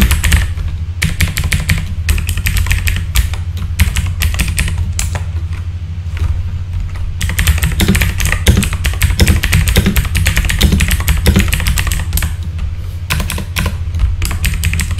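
Fingertips type on a full-size backlit mechanical keyboard with plastic keycaps, producing rapid, bright clacking keystrokes in bursts with a brief lighter stretch around the middle. A steady low hum sits beneath the typing throughout.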